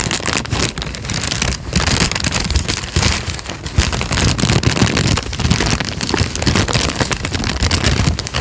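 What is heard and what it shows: A thin peach paper sheet, held flat above the microphone, is crinkled and flexed with the fingertips, making a dense, continuous crackle. The crinkling spreads from a heavy low rumble up into bright, airy rustling at a fairly steady level throughout.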